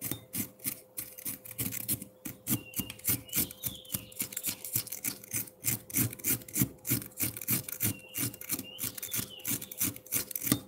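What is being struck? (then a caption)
Frozen milk ice block scraped with a metal fork. A hand-held metal fork scrapes and shaves a solid block of frozen milk ice, with the shavings gathering at its base. About fifty quick, gritty rasping strokes come in an uneven rhythm of roughly three per second, each with a bright crunchy edge over a faint steady hum.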